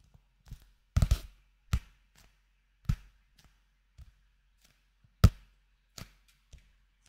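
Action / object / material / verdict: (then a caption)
tap / paperback paper book with card cover / paper / none. A small blue-covered paperback manga, a solid paper book with a glossy card cover, is held in both hands close to the microphone and tapped on the cover with fingertips and nails. The result is a series of soft, dull, low thuds at irregular intervals, each dying away almost instantly with quiet gaps between them.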